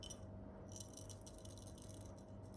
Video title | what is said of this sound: Litespeed T1SL Dream Build. Component breakdown/Bloopers/Behind the scenes. | There is something in between the hollow walls of the carbon arm stuck inside.